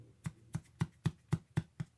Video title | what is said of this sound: Augason Farms "Honey Wheat Bread & Roll Mix" Review | I'll tell you what though, this bread is very dense. But if you can hear that, it sounds hollow.